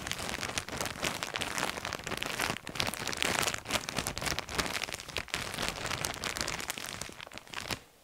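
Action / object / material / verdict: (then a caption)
shake / thin plastic bag of fabric lanyards / plastic / none. Gloved hands with bare fingertips crinkle and squeeze a large, clear, thin plastic bag full of coloured fabric lanyards. A dense, continuous, bright crackling and rustling runs for about eight seconds with little low end, then suddenly drops to near silence.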